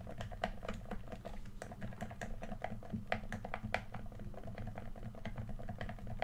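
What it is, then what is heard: Plastic game controller. Fingertips tap rapidly on the touchpad and body of a red, hand-sized, hollow plastic PS4 controller. The taps come as a steady stream of short, dry, hollow clicks with a mid-pitched tone, over a constant low hum.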